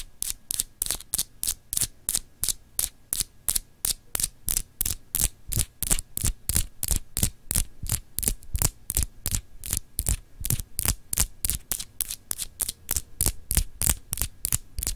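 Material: Glass.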